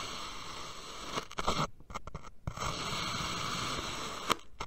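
A steel knife blade cuts successive thin vertical slices from a solid purple kinetic sand dome, the slices leaning over in a stack. The cuts make a soft, gritty scratching hiss centered around 1 kHz, broken by brief near-silent gaps between strokes and a sharper tick near the end.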